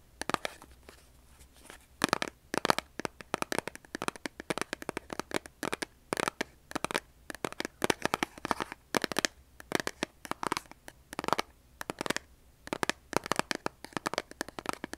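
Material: Cardboard.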